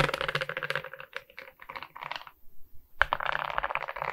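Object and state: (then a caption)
Resin rhinestone diamond painting. Long nails tap and scratch across the resin rhinestone beads of a larger beaded diamond painting, making rapid, bright, dry clicks that ring only briefly. The clatter thins out into scattered taps and falls almost silent for a moment, then a sharp tap brings back a dense run of clicking.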